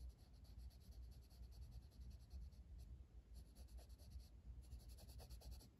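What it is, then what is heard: Colored pencil shading on paper. A blue wooden colored pencil, held in the fingers, is rubbed over the flat paper page of a coloring book lying on a table. Quiet, steady shading strokes make a soft scratchy rustle with faint bright hiss. A low rumble runs underneath throughout.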